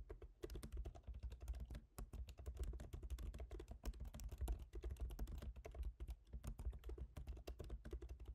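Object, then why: Laptop keyboard with plastic keys in a metal body. Both hands type rapidly with their fingertips on a MacBook Pro keyboard, whose black plastic keycaps sit in a silver aluminum body. The result is a steady, quiet stream of short, dry key taps with soft low thuds and bright clicky tips that stop almost instantly.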